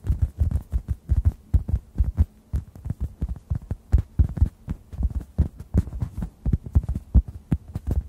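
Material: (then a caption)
Foam. A dry, hand-sized, rounded oblong orange synthetic foam sponge, solid and porous, is tapped with fingertips close over two microphones. The result is a quick, irregular series of soft, muffled low thumps with almost no brightness and very short decay, over a faint steady low hum.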